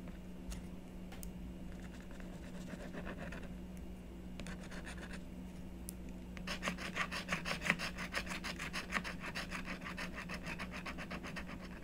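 A stylus scratches and rubs the coating of a flat scratch art board, made of coated paper on cardboard, in repeated strokes while a hand with long nails holds the board down. Quiet, sparse scratches come first, then dense, rhythmic rasping strokes build up from about 6.5 seconds over a steady low hum.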